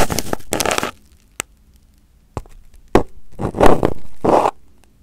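Crumpled aluminum foil wrapped over a round microphone head, a thin sheet over a hollow form, is poked and picked with a small pin held in the fingertips. Loud, close bursts of crackling and crinkling alternate with near-silent pauses broken by single sharp ticks. The rustles are dense and bright on top of a heavy low rumble.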